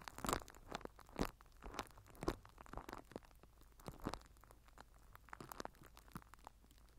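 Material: Plastic film.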